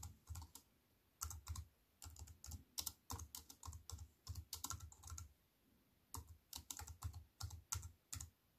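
A compact wireless keyboard with black plastic keys on a grey metal-look frame lies flat on a wooden table and is typed on with fingertips and long white-painted nails. Quick bursts of tapping give crisp, bright clicks over soft low thuds, each dying away almost at once. Short pauses break the typing near the start and again around the middle.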